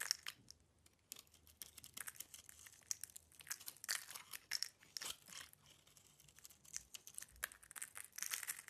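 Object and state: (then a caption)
Bar soap being scraped. A solid bar of soap with a black and gold outer layer and a cream core is held in the hand and peeled and scraped with a metal utility knife. The result is a quiet run of dry, crisp scraping and crunching bursts with brief pauses between them. The sound is almost all bright and high, with next to no low end.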